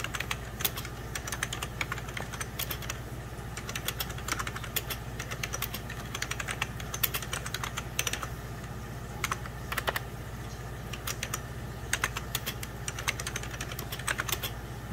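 Fingertips and short nails type rapidly on a full-size 90s Packard Bell keyboard with beige plastic keys over a hollow plastic case. Dense, uneven bursts of short, bright plastic clicks run continuously over a steady low hum.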